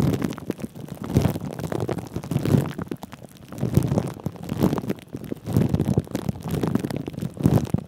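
Fingertips of both hands rub, crinkle and scratch clear plastic cling film wrapped over a microphone's mesh head. The sound is a dense, muffled, low rumbling crinkle with most of its weight in the bass and little bright content. It swells and fades in repeated waves throughout.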